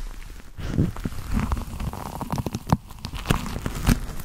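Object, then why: Leather gloves. Black leather gloves worn on the hands are rubbed palm and fingers against each other, giving a low, soft creaking and crinkling with scattered irregular squeaks and brief crackles. The sound is mostly low and dull, with short bursts that stop almost at once.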